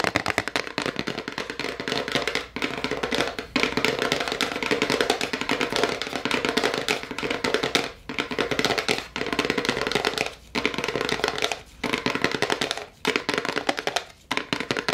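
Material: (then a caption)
Cardboard. A small, dark brown Harry & David chocolate gift box of rigid paperboard, presumably hollow, is held up in both hands and rapidly tapped and scratched with long acrylic nails on its top and sides. The result is a dense stream of short, dry, bright clicks and scratchy rustles with a hollow knock around 300 Hz. The rapid tapping is broken by several brief pauses.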